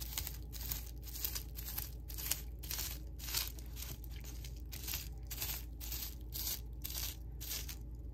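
Fingertips press down on a flat sheet of small-bubble clear plastic wrap lying on a table, popping the bubbles. Quick, bright crackling pops come in an uneven rhythm over a steady low hum.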